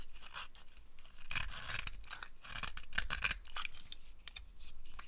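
A blade carves curls off the surface of a solid dry green soap bar held in the hand, making a steady run of dry, crunchy scraping cuts. Each stroke is a brief bright rasp over a low, quiet background.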